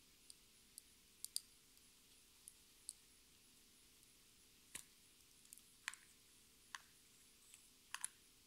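A small lipstick with a metallic pink plastic body and white cap, held in the hands, is slowly tapped and scratched with long red nails. Eleven sharp, bright, very short clicks stand out against a quiet background with a faint steady low hum, each dying away almost instantly.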